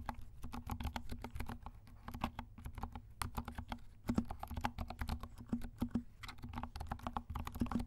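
Fingertips of both hands type steadily on a compact 68-key mechanical keyboard with dark plastic keycaps and silent switches. The rapid keystrokes make soft, muted clicks with a low, dull thud and a faint hum under them, and each stroke fades almost at once.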